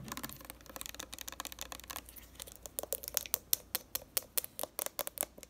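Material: Plastic.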